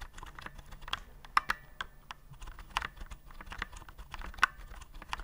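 Fingertips press the round keycaps of a white plastic typewriter-style keyboard held upright, producing a quick, uneven run of short, dry plastic clicks. A few louder, brighter clacks stand out, and each keystroke stops almost instantly over a faint low background rumble.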